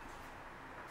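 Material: Nothing is struck.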